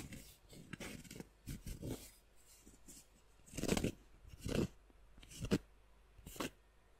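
A round, flat, solid cork coaster is held in both hands close to the microphone and scratched and tapped with long nails. Soft, dry scratching bursts with a bright hiss alternate with duller, low tapping thumps in an irregular rhythm. Each sound stops quickly against a quiet background.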